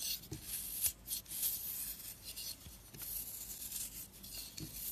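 A metal blade scrapes across the face of a handheld solid round disc of marbled purple and orange soap, shaving off curls. The result is a steady, bright, raspy scraping with quick strokes that swell and fade, plus a few soft low bumps underneath.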